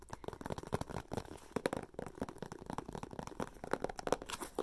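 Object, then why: Thin clear plastic box. Long painted fingernails tap and scratch a small, apparently hollow clear plastic box or clamshell with a printed paper plant label, held in the hands. Many quick, dry clicks and crinkly scratches arrive in a busy, irregular stream, each one short with almost no ring. The clicks have a hollow plastic tone around the mid-range.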